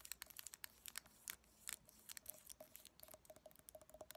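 Long painted nails tap and scratch a small clear glass jar with a lid and a pale filling inside, held in both hands. A quiet, uneven run of sharp, bright clicks and crackly scratches comes in quick bursts, with a faint glassy ring under some taps. Each sound cuts off almost at once.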